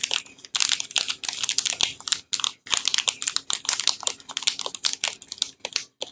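A small, solid bar of Tibet Luxury soap in a glossy blue plastic wrapper is held in both hands while fingertips and painted nails scratch, press and crinkle the wrapper as it starts to be unwrapped. Quick, bright, crackling bursts of crinkling follow one another with short pauses and almost no low end, each dying away at once.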